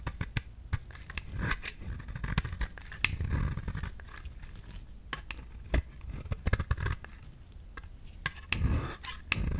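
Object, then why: Bar of soap shaved with a blade. A flat, rectangular, solid yellow soap bar held in the palm is shaved and scraped with a utility knife blade, curling off soap shavings. Crisp, sharp clicks and dry, bright scraping rasps come in quick irregular bursts over a soft, low rumble, each snap stopping at once with no ring.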